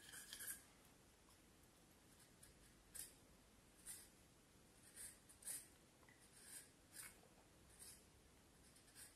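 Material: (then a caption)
Wood. A small knife blade carves and scrapes the lower part of a solid, curved vine wood branch held upright, working in short strokes. Brief, bright, dry scraping bursts rise at intervals over a quiet, steady background hiss, each stroke stopping quickly with almost no ring.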